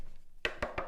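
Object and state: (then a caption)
Loudspeaker cabinet. Knocking on a big loudspeaker cabinet resting on a desk gives three short, dry knocks that die away almost immediately.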